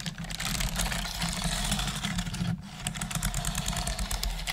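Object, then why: Plastic computer keyboard. Both hands with long nails type on the hollow keys of a black plastic desktop computer keyboard, making a quick run of light, bright plastic clicks and taps. The clicks sit over a steady low hum, with a brief lull partway through before the typing picks up again.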